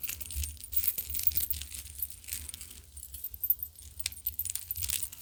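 A large, old all-metal chain piece of jewelry, a lattice of clover-shaped rings with dangling metal balls, partly tarnished silvery black, is handled and shaken. The dangling parts chime and jangle in a steady stream of light, bright metallic clinks and rattles with a low rumble underneath.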